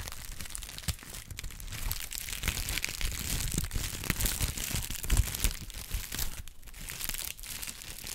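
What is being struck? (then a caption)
Honeycomb kraft paper wrap. A brown honeycomb kraft paper wrap pad is crinkled and squeezed in both hands. A continuous run of dense, crisp crackling and crunching rises and falls over low, soft handling thumps, with bright papery texture throughout.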